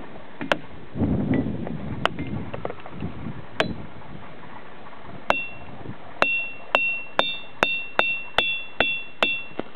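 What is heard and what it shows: Boulders at Ringing Rocks Park are struck with a hammer or other hard object, and each strike rings out with a clear, bell-like tone around 2.7 kHz that fades within a fraction of a second. A few scattered strikes over a low rumble lead into a steady run of evenly spaced ringing hits.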